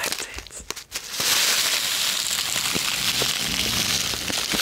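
Long red-painted nails and fingertips rub, crinkle and tap a small, flat, hollow white paper envelope or sachet held in one hand close to the microphone. A second of sparse, soft taps and crackles gives way to steady, bright paper crinkling and rustling with scattered sharp ticks.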